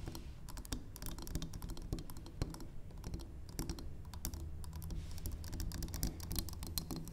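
Long acrylic nails tap rapidly on the sides of a large, solid, square, cream-colored wax pillar candle held upright on a wooden table. The result is a quick, steady patter of short, crisp clicks with a dull low body. Each tap dies away almost instantly.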